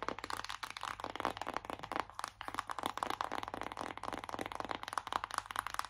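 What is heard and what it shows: Long acrylic nails tap quickly on a flat, hollow, closed BH Cosmetics "Take Me Back to Brazil" cardboard eyeshadow palette held up in both hands. The result is a dense, steady stream of dry, crackly clicks centered around 1 kHz, with almost no bass and no ring after each tap.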